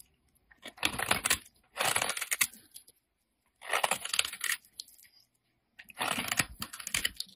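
A utility knife blade scrapes across the flat face of a solid peach-orange bar of soap held in hand, leaving scrape marks. Four separate bursts of crisp, dry, bright rasping are heard, with brief silences between them and almost no low end.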